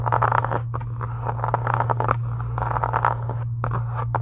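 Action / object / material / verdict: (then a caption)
scrape / faux leather journal cover / faux leather / none. Long acrylic nails scratch across a solid pink embossed faux-leather book cover in quick bursts of dry, rasping strokes. The strokes sit in the midrange over a constant low hum, with brief pauses between flurries.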